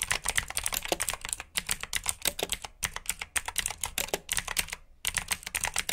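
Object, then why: Plastic mechanical keyboard. Fingertips with short nails type quickly on a full-size black plastic mechanical keyboard with RGB backlit keycaps, clicky blue switches and hollow key housings. The sharp, bright clicks come in rapid bursts with brief pauses between runs.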